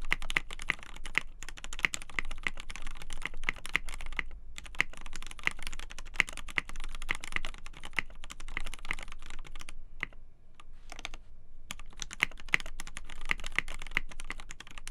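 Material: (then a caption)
Polycarbonate. Both hands type steadily on a black polycarbonate KBD8x TKL mechanical keyboard with a polycarbonate plate, Gateron Black Ink switches and white and black PBT keycaps, resting on a desk mat. Fingertips press and tap the keys in a fast, continuous stream of short, crisp clacks with a deep thock underneath. The typing pauses briefly around four and a half seconds and again between ten and eleven and a half seconds.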